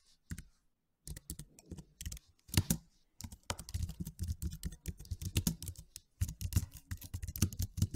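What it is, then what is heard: Plastic low-profile computer keyboard. Fingertips type rapid key taps on a white and silver slim, low-profile plastic computer keyboard with low plastic keys. The taps are short, dry clicks with a soft low thud beneath them and little ring. They come in quick bursts separated by brief pauses.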